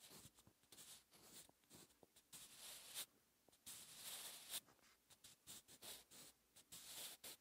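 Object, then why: Pencil graphite on a paper notebook page. A sharpened wooden pencil's graphite tip writes Korean characters on a lined paper notebook page lying flat on a solid surface. Bright, dry scratching and rubbing strokes come in short irregular bursts with brief pauses between them. The sound is quiet and mostly high, with almost no low end.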